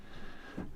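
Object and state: Nothing is struck.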